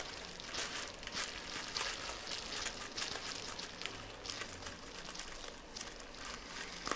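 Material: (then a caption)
Plastic. A small piece of clear plastic bubble wrap is squeezed and twisted in both hands while fingertips pop its bubbles. The result is a dense, bright crinkling crackle broken by short, sharp pops at an irregular pace.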